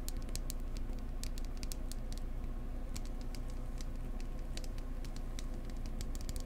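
Fingertips tap gently and close up on a wooden egg, with no talking. Soft, irregular, bright clicks patter over a steady low rumble throughout.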